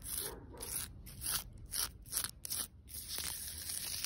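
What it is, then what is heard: Tree bark scratched. Long pointed red nails scratch along the grooves of rough, cracked, lichen-covered bark on a large, solid living tree trunk. Short bright rasping strokes come in separate bursts, about ten of them, broken by brief pauses. A steady high hiss and low outdoor rumble run underneath.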